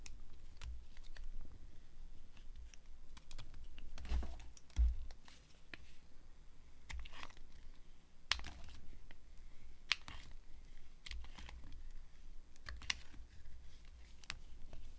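A metal blade carves long strips off a dry, solid tan-brown laundry soap bar held in the hand. Crisp, dry scraping clicks and short bright crackles come in uneven bursts over a low, steady rumble.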